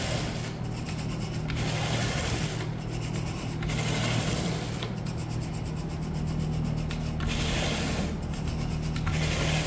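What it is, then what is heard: Synthetic carpet being raked. A blue bristle carpet rake with a wooden handle is pushed and pulled across the pile of dirty, speckled brown synthetic wall-to-wall carpet along a baseboard. The result is a steady stream of raspy, rubbing strokes with bright swishing bristle noise over a constant low hum.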